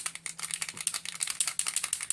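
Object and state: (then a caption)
Paint marker with mixing ball. A Sharpie paint marker is shaken, and the small mixing ball inside rattles against the barrel in a quick run of about fifteen bright, high-pitched clicks. The ball mixes up the paint inside, just as the ball does in a spray-paint can.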